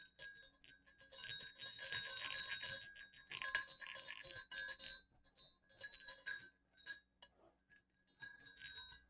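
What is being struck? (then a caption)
Small metal jingle bells on a cord. Two small hollow silver metal jingle bells on a cord are shaken so they clink against each other, giving bright, rapid jingling in uneven bursts with short, quickly fading rings. The shaking comes in clusters separated by brief pauses, ending in a few lighter, sparser jingles.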